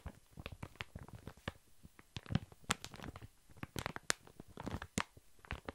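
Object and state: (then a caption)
Plastic-wrapped pack of baby wipes. A large, full, soft pack of baby wipes wrapped in thin plastic film is held upright and tapped and scratched with long fingernails. The result is a rapid, irregular run of quiet, dry crinkling taps and scratches, with soft low thumps under bright plastic clicks that die away instantly.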